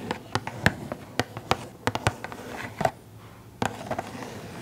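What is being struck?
Small printed cardboard box with plastic window.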